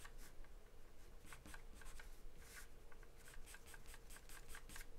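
A graphite or charcoal pencil held in the hand scribbles and shades across a large white paper sheet taped flat to a dark surface. Quick, bright scratching strokes come in short bursts over a soft, continuous rasp and a low rumble, all at a quiet level.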